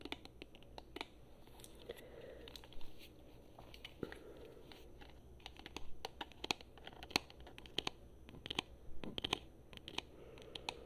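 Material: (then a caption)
Plastic. Long fingernails tap on the shell and buttons of a hollow, handheld, black plastic Xbox controller. The irregular stream of sharp, dry clicks is bright and short, with no ring, over a quiet low rumble. Each tap dies away almost instantly.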